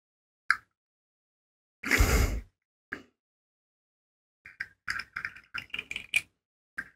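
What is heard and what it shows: A hand-sized rainbow plastic fidget slug made of hollow segmented rings is flexed and shaken so its segments click against each other. A single sharp click is followed by a longer, brighter rattling burst and another click, then a quick run of light plastic clicks and a final tap in a quiet space.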